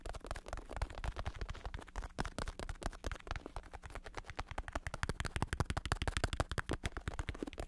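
Fingertips tap and scratch the side and top of a black padded bicycle saddle with a red stripe, covered in vinyl synthetic leather over foam. Quick, dull, soft-bodied taps come in a rapid, uneven stream, each dying away almost at once, with faint scratchy rustle between them. A low steady hum sits underneath.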